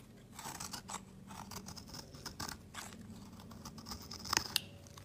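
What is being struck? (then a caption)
Bar of soap scraped with a metal blade. A metal blade scrapes thin curls from a solid marbled yellow-white soap bar held at the fingertips. It makes a quiet run of dry, bright scraping strokes, with a couple of sharper, crisp clicks near the end.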